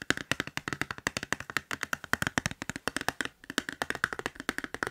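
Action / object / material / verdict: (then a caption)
tap / smartphone in a hard plastic case / hard plastic / none. Fingertips and nails tap and click quickly on the surface and edges of a clear hard plastic case on a hand-sized smartphone, held at an angle. Around forty short, dry, sharp clicks land in rapid bursts with almost no ring, and their bright plastic ticks sit over a light, hollow knock.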